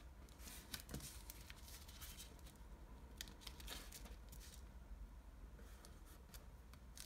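A small folded sheet of light blue washi origami paper is creased by fingertips and nails, which rub its folds flat on a table. Soft, bright, papery scratches and crinkles come in short bursts over a steady low hum.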